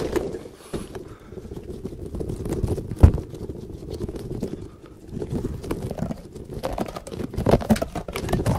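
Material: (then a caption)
Rubber. A yellow, hand-sized, soft rubber caterpillar toy with spikes is squeezed, stretched and rubbed by the fingers of both hands close to a microphone. The result is a dense, low, muffled stream of squishing, creaking and rapid soft taps. One sharper, louder snap stands out about three seconds in.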